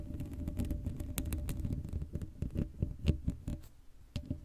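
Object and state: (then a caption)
Metal mesh microphone grille. Fingertips and long nails tap and scratch the sides of the hollow head of a black metal mesh Blue Yeti microphone grille with no cover. Rapid, irregular taps land as dull, low thuds with very short decay, some carrying faint bright scratchy clicks. A steady low rumble runs underneath.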